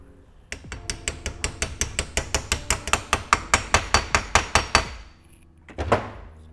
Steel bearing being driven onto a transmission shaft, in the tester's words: when you hear the change in sound, that's when you know it's all the way down